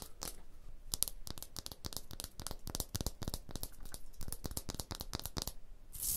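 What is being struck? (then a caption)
Textured stone block wall. Long blue nails rapidly tap and scratch a rough, pitted textured stone block wall. The result is a dense run of sharp, dry clicks with bright, crunchy edges and a gritty scraping rasp between them, each tap dying away almost instantly.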